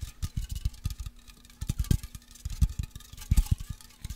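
A pressurised white aluminium deodorant aerosol can with contents inside is shaken, then rubbed and tapped with fingertips and nails. The result is a quick, uneven run of short, dull, low thumps with a muffled liquid slosh, and faint bright scratching from the nails between the taps.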